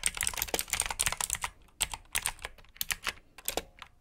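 Fingertips type on a black plastic backlit mechanical keyboard with blue switches, producing rapid, bright clicky keystrokes in quick bursts. A brief pause splits the flurries, each press a sharp, short click with almost no low end.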